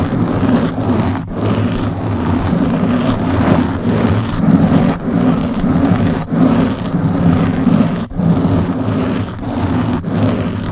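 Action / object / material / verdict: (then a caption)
scrape / foam microphone windscreen / foam / none. Long blue-painted nails on both hands scratch a round black foam windscreen covering the head of a Blue Yeti microphone. The result is a steady, dense, rumbling scratch with a heavy low-end roar and broad rustling texture. It is broken only by a few brief drops in loudness as the strokes change.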